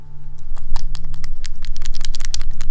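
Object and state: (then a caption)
Paint dropper bottle with a metal mixing ball rattling inside. A tall, thin plastic Vallejo paint dropper bottle is shaken with a non-rusting steel ball bearing inside, producing a fast run of sharp, bright metallic clicks and rattles over a low steady hum. The rattle shows the ball is inside and mixing the paint.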